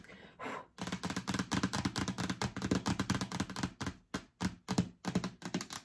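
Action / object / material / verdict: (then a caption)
scrape / plastic storage bin lid / plastic / none. Long acrylic nails scratch and tap rapidly across the stickered lid of a hollow yellow plastic storage bin, then the bin is tilted and held up. The result is a dense run of short, dry clicks and scrapes over a hollow low thud that dies almost at once. Near the end the strokes spread out into separate bursts with brief pauses between them.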